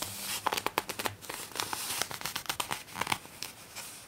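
A folded glossy paper poster inside a magazine is unfolded and bent by both hands with long nails. It gives a run of sharp, bright crinkles and crackles with a dry, papery texture and almost no low end.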